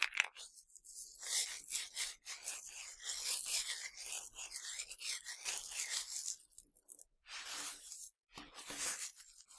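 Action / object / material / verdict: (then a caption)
scrape / pile of tiny hard sugar candies / sugar candy / none. Fingertips with dark-painted nails rub and sweep through a pile of tiny, hard, colorful Nerds sugar candies on a black surface, scooping them up and letting them trickle back down. The result is a dry, bright, crackly rustle with almost no low end, rising and falling in uneven bursts separated by brief near-silent pauses.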